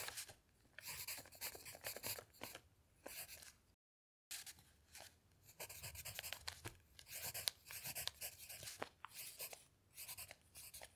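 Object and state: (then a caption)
Pencil writing on a paper notepad. A pencil scratches across a thick stack of lined paper sheets on a notepad while writing, as the other hand's fingertip rests still on a dictionary page. Quiet, bright, dry scratching comes in short bursts of strokes separated by pauses, with a brief full silence near the four-second mark.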